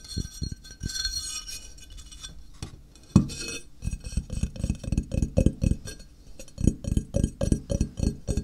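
Fingertips tap along the edge of a flat, solid grey ceramic tile held on edge. The first few seconds bring scattered soft taps with a faint bright clink, then a sharper knock. After that comes a steady, rapid run of short, dull taps, each with a low body and a quick, dry decay.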